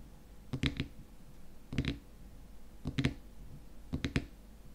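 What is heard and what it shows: Fingernails tap on the frosted white plastic lid of a small glass jar filled with cream, then hands grip the lid's edge. Four short bursts of dull, low-pitched clicks are heard, each with a brief bright edge that dies away almost at once, separated by quiet pauses.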